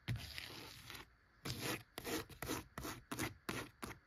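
Long acrylic nails scratch across the top cover and along the edge of a single old, thick, cloth-bound vintage hardcover book lying flat on a wooden shelf; its worn cloth cover is over solid board. A long opening scrape gives way to a series of short, separate rasping strokes, each a dry, bright, zipper-like rub with a little low body and no ring after it stops.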